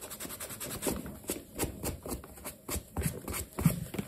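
A hand holds a black leather sneaker while a yellow cloth wrapped over the fingers rubs and buffs the side and heel leather. Quiet, rapid brushing strokes come in short soft bursts with a low, dull body and faint bright swishes.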